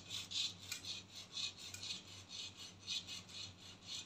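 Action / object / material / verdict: scrape / textured plastic cap of an aerosol can / plastic / none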